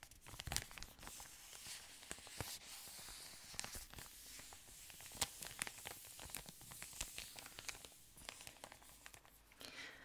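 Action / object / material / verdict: scrape / thin plastic ice cream wrapper / plastic / none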